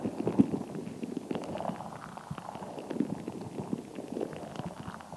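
A fist-sized, translucent, soft rubber stress ball filled with colored gel water beads is held in both hands and squeezed, tapped and scratched with long acrylic nails. The result is a steady run of soft, low-mid squishing, wet popping and clicking sounds with many short, dull taps and no ringing.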